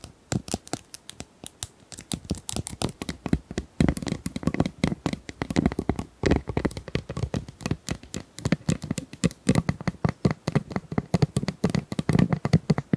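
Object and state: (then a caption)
Plastic ice cubes. Small plastic ice cubes are tapped and handled, producing a steady stream of dozens of quick, dry clicks and light rattles. Each tap is short and dies away almost instantly, with most of the energy in the low and middle range and little brightness.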